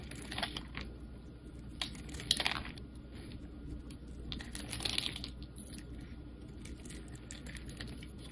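A utility knife blade shaves thin slices and flakes off a solid light blue oval bar of soap held in the hand. Crisp, dry scraping and crackling cuts come in bright bursts around 3 kHz, with a few sharper snaps, over a steady low background hum.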